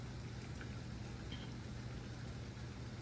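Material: Nothing is struck.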